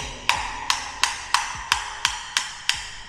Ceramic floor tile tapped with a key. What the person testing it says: Dia macam treble, bunyi dia nyaring sikit.